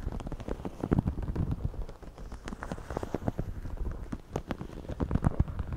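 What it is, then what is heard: Woven straw hat being scratched. Fingertips and nails scratch and rub the crown and brim of a white wide-brim woven straw floppy hat worn on the head, picked up by earbud mics under the hat. A dense, irregular stream of short, dry crackling scratches sounds close and muffled, with most of its weight in the low end. The scraping continues throughout with no ring after each stroke.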